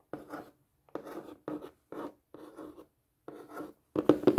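Long painted fingernails tap and scratch across the face and edges of a flat, hollow, rectangular printed cardboard craft kit box. Seven short, dry, papery bursts of scraping and tapping sit in a hollow low-mid range with quick decay, and the last burst is louder and busier than the rest.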